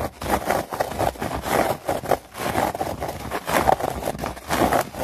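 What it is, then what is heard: Artificial grass mat. Long nails scratch and tap fast across the surface of a synthetic plastic turf mat. The result is a series of dry, rustling scrapes and quick taps concentrated in the midrange, with little low end and very short decay.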